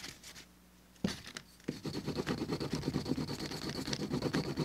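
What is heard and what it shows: A wooden burnishing slicker is rubbed back and forth over the rough flesh side of a small, thin, solid cut piece of tan veg-tanned leather lying on a cutting mat, with the other hand holding it down and a dark leather piece untouched at the side. After a quiet opening with a faint low hum and a couple of sharp knocks, a steady, rhythmic scratchy rasping of roughly three strokes per second sets in, carrying a thin, bright high tone above it.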